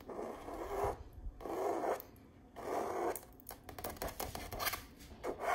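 Long nails scratch across a stretched canvas print of an autumn tree path, its textured painted fabric pulled over a hollow frame, making three rough, papery scratching strokes in the midrange. These are followed by a run of quick, dry taps on the canvas with a hollow, short-lived knock.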